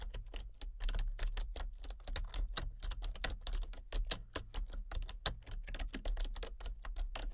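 Long fingernails tap steadily across the plastic keys of a full-size, hollow-bodied computer keyboard with color-changing backlit keys. The result is a fast, uneven stream of short, bright clicks, each dying away almost at once, over a steady low hum.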